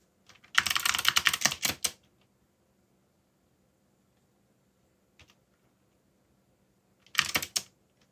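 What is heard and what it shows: Fingertips type on a backlit plastic mechanical keyboard with dark plastic keycaps, producing a fast run of bright, crisp clicks for about a second and a half. A couple of isolated taps follow in a long quiet pause, then a shorter burst of rapid typing ends the clip, each keystroke dry and short with no ring.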